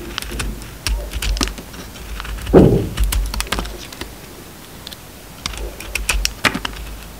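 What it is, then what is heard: Round bar of soap being cut. A utility knife blade peels and scrapes the surface of a solid round bar of soap with a purple printed outer layer and a pale green core. It makes a quick series of crisp, bright ticks and scratches, with a denser, fuller scrape near the middle of the clip.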